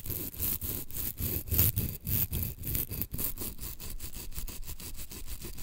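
Long green acrylic nails scratch and rub along the gritty surface of a thin, solid, flat two-tone blue and green emery board nail file. The result is a steady run of quick, rhythmic rasping strokes with a low, rumbling body and a bright, hissy edge. The strokes are spaced apart at first and grow faster and more even toward the end.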